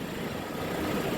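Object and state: Nothing is struck.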